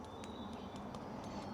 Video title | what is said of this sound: Don't Buy LED Headlights Until You Watch This! - 2024 Chevy Colorado Upgrade | if you tap this, it won't make any noise